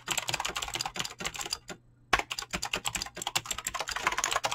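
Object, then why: Mechanical keyboard with PBT plastic keycaps. Fingertips fast-type on a mechanical keyboard with clicky green switches and PBT plastic keycaps. A rapid run of bright, crisp clicks and clacks breaks into a short pause just before the two-second mark, then resumes at the same brisk pace to the end.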